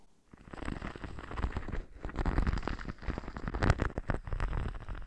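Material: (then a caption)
Sequins. Fingertips and nails rub and scratch across a flexible teal sequined glitter textured sheet draped over a dummy head microphone. After a brief quiet start, a dense, crackling rustle of scratches and small ticks runs continuously, heavy in low rumble and close to the mic, with sharper scrapes standing out near the middle and end.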